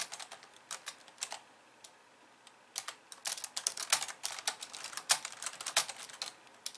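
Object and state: Plastic computer keyboard.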